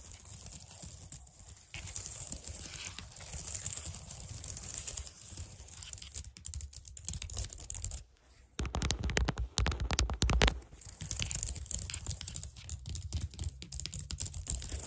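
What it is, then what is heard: Plastic computer keyboard. Long dark-painted nails on both hands type, tap and scratch across the hollow keys of a white plastic computer keyboard. Dense, irregular clicks and scratchy patter carry a low thump beneath and bright high clatter above. After a brief near-silent pause around eight seconds, a louder, faster burst of tapping builds before settling back into lighter clicking.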